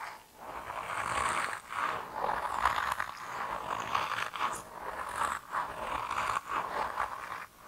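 A hand-sized grey soft rubber mouse toy, solid and flexible, is held in both hands and squeezed and rubbed with fingertips and thumbs. It makes continuous squeaky, rubbery scraping and squishing sounds centred around 1 kHz with bright edges, swelling and fading in uneven bursts with short pauses between them.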